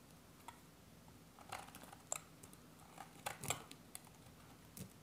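A solid, hand-sized green bar of dry soap is shaved and cut with a metal utility-knife blade held in the other hand. Short, crisp scraping cuts repeat at uneven intervals, each with a bright, dry crackle over a quiet background.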